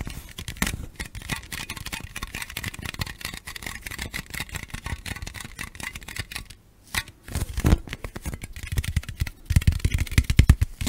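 Long nails tap and scratch the surface of a hollow green Mountain Dew aluminum soda can, held in both hands, first upright and then sideways, close to the mic. Quick, dull, low-heavy taps and thin scratches run almost nonstop, with a brief silence around the middle. The taps then return and grow louder and more forceful toward the end.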